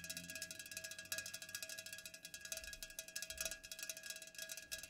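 Long nails fast-tap the sides and top of an unopened, full Pepsi aluminum can standing upright. The result is a quiet, steady stream of rapid, bright clicking taps with very short ring and a faint metallic tone around 1.65 kHz.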